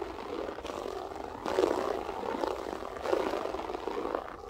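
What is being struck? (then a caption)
Loop-pile carpet. Long nails scratch across a grey loop-pile berber carpet, giving a continuous dry rasping scuff centered in the midrange. The scratching swells into louder strokes around the middle and again toward the end, with possible faint speech in the background.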